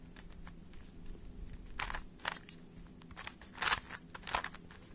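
A small, hollow plastic 3x3 Rubik's speed cube is held in both hands while fingertips and short nails twist its layers. Short, bright clicking and crunchy turning bursts rise above a quiet, steady low hum, and each one stops almost at once.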